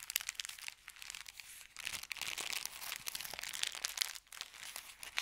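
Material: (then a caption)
Paper. A folded, empty brown kraft paper bakery bag is crinkled in the fingers, then unfolded and smoothed flat on a felt mat. The sound is dry, bright crinkling and crackling made of many sharp, short snaps with almost no low end. The crackling is dense throughout, with a brief quiet dip near the end.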